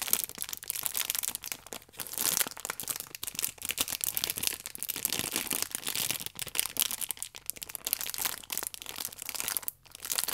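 A small, filled pack of paper baking powder sachets wrapped in clear plastic film is turned in the hands while long nails scratch it and fingertips squeeze the wrap. It makes a dense, bright crinkling full of sharp little crackles, with almost no low end. The crinkling runs nearly continuously, with brief dips between bursts.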